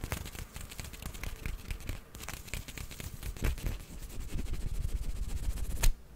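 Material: Plastic.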